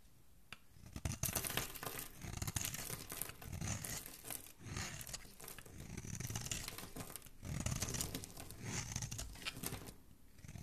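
A palm-sized, purple-and-white striped solid bar of soap, held in a hand with dark-painted nails, is shaved with a metal blade until the flakes peel away and a flat cut face shows. The carving makes a continuous, crackly scraping and tearing sound in several long swells, with a soft low rumble beneath bright, papery hiss.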